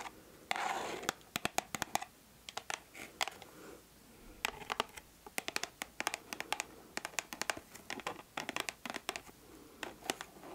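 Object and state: Cardboard perfume box.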